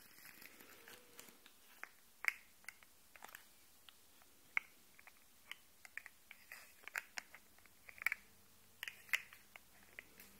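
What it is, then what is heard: Plastic articulated fidget toy. A hollow, rainbow-colored, segmented plastic articulated slug fidget toy is held up close while fingernails tap and scratch its ridged segments and the segments are flexed so they click. About two dozen quiet, sharp, dry clicks and taps ring out at uneven intervals, bright and centered around 2.2 kHz with almost no low end, over faint scratching.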